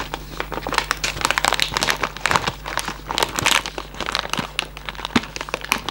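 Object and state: Cardboard candy box, crinkled.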